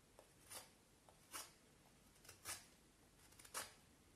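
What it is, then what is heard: Vine wood stick being whittled. A black knife whittles the end of a solid, peeled vine wood stick held upright, using short scraping cuts. Four soft, bright, rasping scrapes are heard at uneven intervals, each dying away quickly, with fainter small scratches between them over a quiet background.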